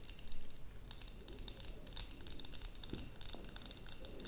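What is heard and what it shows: A glass terrarium jar with a cork lid, holding soil and moss, is tapped and scratched with long nails. Quiet, rapid, bright clicks and scratchy rasps pile on top of one another over a soft low rumble. Each tick dies away almost at once.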